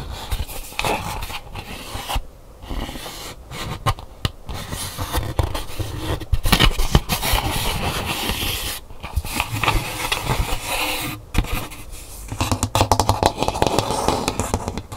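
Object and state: Calabash gourd bowl, hollow.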